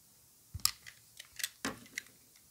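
A utility knife blade cuts and shaves a solid white stamped bar of soap held in a gloved hand. About six crisp, bright scraping clicks are heard, each very short with almost no ring, over quiet silence.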